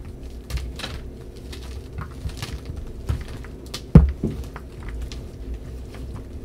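Bare hands squeeze, crush and rub several solid white gym chalk blocks of magnesium carbonate, some coated in blue paint, into crumbly powder in a dark bowl. A steady run of soft, low crunching and crackling is heard, with one sharper crunch near the middle, leaving the chunks broken into powder.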